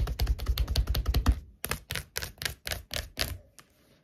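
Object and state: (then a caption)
Paperback book tapped with fingernails. Long acrylic nails tap and scratch quickly across the glossy card cover of a thick *Sex and the City* paperback book made of solid paper, lying flat on a wooden table. A fast, dense run of dull, low-heavy taps lasts about a second and a half, then after a brief pause slower, separate crisp taps follow, ending with one faint tap.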